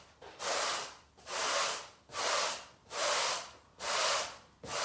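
A long-handled bristle garden brush is pushed and rubbed across a brown pile carpet on the floor in sweeping strokes. Each stroke is a broad, bright, scratchy swish that swells and fades, with short quiet gaps between. Five full strokes come at a steady pace of a little over one per second, with another starting at the end.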